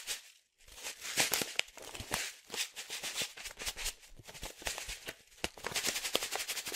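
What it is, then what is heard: Foil-lined coffee bag, shaken. A medium resealable green and yellow foil-lined plastic coffee pouch, filled with coffee, is shaken and tossed between the hands. It makes a bright, dense crinkling rattle with many sharp, quick crackles and almost no low end, after a brief quiet gap near the start.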